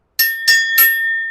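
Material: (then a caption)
Steel. A hardened steel forward clutch hub from the 4L80E transmission of a four-wheel-drive 1998 Chevy Silverado 2500 HD 6.0L with 296,439 original miles is tapped three times. Each tap gives a bright, clear metallic ring with high sustained tones around 2 kHz and above that carries between the taps. The ring marks it as the good, hardened hub, unlike the earlier soft hubs that just thud.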